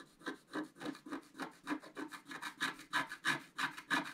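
A thin wooden stylus scratches the black coating on the antler area of a flat, thin, solid scratch-art card (black-coated paper board, about A4 size), while the other hand holds the card. Quick, fairly regular raspy strokes repeat about three times per second, each a dry, papery scrape with a bright, hissy top and almost no low end or ring.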